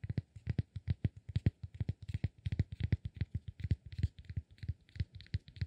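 Fingertips tap and scratch a solid cork block held in the palm. About 35 quick, dull, low thuds sound in an uneven rhythm, each with a faint bright click and almost no ring. The result is a soft, muffled patter.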